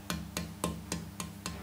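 A pau ferro tonewood board, stiff and dense, is tapped six times with the flesh of a finger. Each tap gives a very short, dry note with a low pitch around 170 Hz that dies away almost at once because the wood is so stiff.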